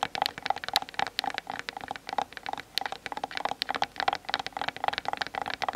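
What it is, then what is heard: Plastic camera body. Long nails tap rapidly on both sides of the hollow plastic body of a Canon DSLR camera set on a tripod, recorded through the camera's own built-in microphone. The taps come as a fast, uneven stream of short, dry clicks with a hollow midrange tone and a bright edge, each dying away almost instantly.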